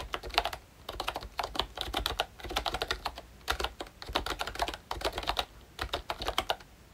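Fingertips type on a pink plastic ROYCHE Disney Mickey Mouse retro membrane keyboard with round keycaps and a hollow body. The keys make quick, bright, clacky taps in bursts separated by brief pauses. Each tap is dry and dies away almost at once.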